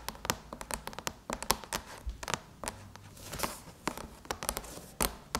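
Long chrome-painted nails tap and scratch the silver aluminum lid of a MacBook near the logo. The sound is a quick, uneven run of about two dozen sharp, bright clicks with almost no ring, and softer scratching and rustling can be heard between them.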